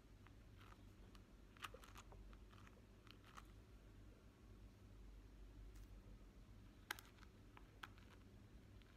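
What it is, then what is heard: Plastic hairbrush bristles. Fingertips and short nails run and flick across the wavy plastic bristles of a rainbow plastic-bristle hairbrush held up close, in a scratching motion. Soft, dry scratching and sharp, bright ticks and flicks come in uneven bursts over a quiet, low background rumble.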